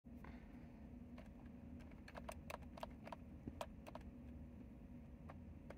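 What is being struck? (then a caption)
Plastic mechanical keyboard. Fingertips of both hands type on a white and mint retro typewriter-style mechanical keyboard with round plastic keycaps and a hollow housing. Short, sharp clicks and taps with a bright, hollow edge stand out irregularly over a steady low rumble.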